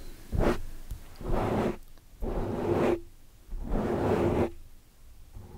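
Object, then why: Foam microphone windscreen. Long dark-painted nails and fingertips on both hands scratch and brush across a large, soft, porous black foam windscreen over a microphone. Four separate swishing, rustling bursts are heard, each a dense, muffled scrape with a heavy low end and a faint hum-like tone near 350 Hz, separated by quiet gaps.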